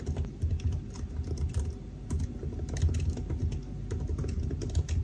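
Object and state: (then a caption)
Laptop keyboard typing. Fingertips of both hands type somewhat slowly on the black plastic keys of a silver aluminium laptop keyboard. The clip holds a steady run of soft, dull key taps with a low thumpy body and short decay, plus faint high clicks over a constant low hum.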